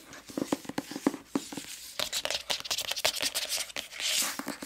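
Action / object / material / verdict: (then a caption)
tap / hardcover book with glossy paper dust jacket / paper / none. Long nails tap and scratch the glossy paper dust jacket of a medium-sized hardcover book, *The Sacred Lies of Minnow Bly*, held up in the air. First come quick, crisp taps with a light hollow knock. These give way to denser, bright scratching and rustling across the slick cover.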